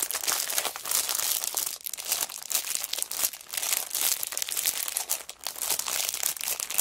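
Hands with long nails scrunch and crinkle the clear cellophane wrapper on a plastic-wrapped kraft paper notebook. The result is a dense, continuous stream of bright, crackling crinkles with brief dips and almost no low end.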